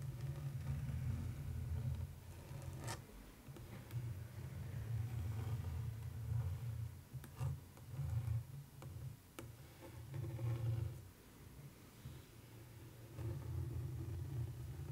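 Long almond-shaped acrylic nails scratch and trace across a flat printed canvas picture of a street scene with a bicycle, set in a thin orange wooden frame lying on a fabric surface. The result is a low, dull, rumbling scrape that comes in steady strokes with brief pauses, with a few faint sharper ticks now and then.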